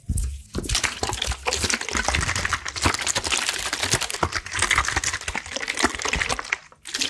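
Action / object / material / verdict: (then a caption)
tap / plastic water bottle with some water inside / plastic / none. A clear plastic water bottle with a red cap and white label, partly filled with water, is held in one hand while fingertips and nails rapidly tap and squeeze it. The result is a dense stream of bright, crinkling plastic clicks and crackles over low sloshing water, easing briefly near the end before resuming.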